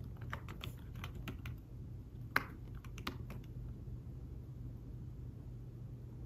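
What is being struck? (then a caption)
Thin fabric-covered folio keyboard. Fingertips type on a thin folio tablet keyboard with fabric-covered keys, making soft, muffled taps with very short decay over a steady low hum. One tap partway through stands out louder and sharper than the rest before the typing continues quietly.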